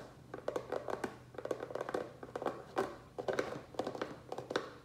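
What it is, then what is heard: Plastic tray tapped with fingertips and nails. Fingertips and nails tap fast on the base of a small, black, rectangular plastic tray that is turned upside down, hollow and empty. The result is quick bursts of light, hollow clicks with a dull mid-pitched tone around 500 Hz and crisp bright edges, each dying away almost instantly.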